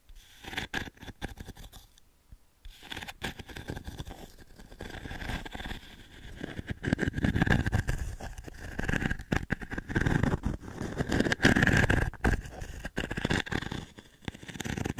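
Fingertips and short nails scratch and rub across a fine metal mesh panel set in a small, flat octagonal pine frame, held by hand just above the mic. Dense, uneven scratching and rubbing with a heavy low-end thump from the close mic briefly drops to near silence about two seconds in. It then returns and builds into louder, steadier rubbing through the middle before easing off toward the end.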